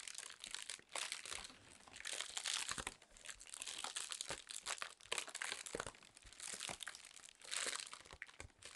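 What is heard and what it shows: A sheet of inflated clear plastic air-pillow packing film is held in both hands and squeezed and crinkled with long nails. The result is a continuous bright crackling and crinkling with dense, quick snaps and little low-end weight. It swells and fades in waves across the clip.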